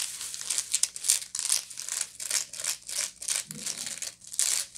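Long nails scratch the surface and rim of a hollow woven straw or raffia bag with a coarse weave, turning and handling the bag between strokes. The result is a series of dry, bright, crackly scratching bursts with almost no low end, each stopping quickly with no ring.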